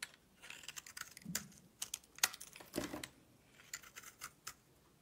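A solid pink soap bar with a silver coating, held in the hand, is shaved with a box-cutter blade. A quick, uneven series of crisp, bright scraping clicks and short shaving strokes is heard, each dying away almost instantly over a quiet background.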